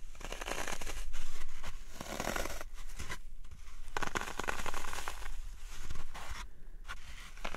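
Fingertips and nails press and poke the sides and top of a dry, solid green floral foam block, an about hand-sized cube already covered in dents, resting on a wooden tray. The foam gives off a steady stream of soft, dry crunching and scratchy crumbling sounds with a faint low rumble underneath.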